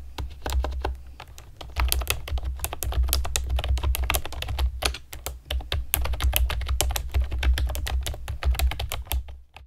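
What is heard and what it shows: Long nails and fingertips type quickly on a compact plastic typewriter-style keyboard with round plastic keycaps and a hollow plastic body. A dense run of short, bright clicks and taps sits over a steady low hum, fading out at the end.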